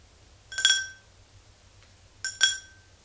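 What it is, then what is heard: Empty glass tumbler. Slow fingernail taps on the sides of an empty, hollow, tall clear glass tumbler, heard as two quick double taps. Each tap gives a bright, glassy ring with a main tone near 3.3 kHz, strong partials around 1.5 kHz and higher, and a short fading ring.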